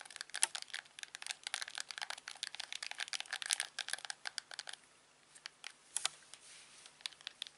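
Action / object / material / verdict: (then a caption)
tap / plastic TV remote control / plastic / none. A thumb presses and rubs the buttons and wheel of a hand-sized, hollow, black plastic LG TV remote, making rapid, bright plastic clicks and crinkly scratching. The clicks come in a dense stream for the first few seconds, then thin out into sparser, quieter clicks after a short lull.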